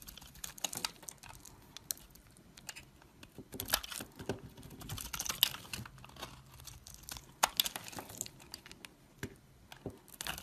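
A solid white oval bar of soap, held in fingers with long black nails over a pile of soap shavings, is scraped and cut with a metal knife blade. Many quick, crisp, bright scraping and crackling clicks come in irregular bursts with almost no ring, over a faint quiet background.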